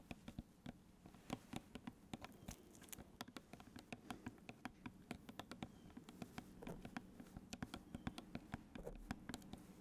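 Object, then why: Plastic squeeze bottle of ketchup. A large plastic squeeze bottle full of ketchup is held close to the microphone while fingertips and nails tap on its plastic body. Dozens of light, quick, dry taps with very short ring patter irregularly over a faint low hum, with bright clicky edges.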